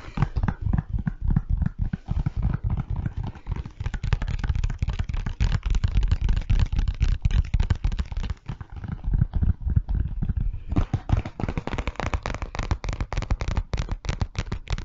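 Fingernails tap and scratch the printed surface of a hollow, flat, transparent PVC pencil pouch with a zip and Lego print, first close up and then held before the microphone. Quick, irregular, dull taps and scratchy crackles run continuously, heavy in low thumping tones with little brightness, each stopping almost instantly, with a brief lull around the middle.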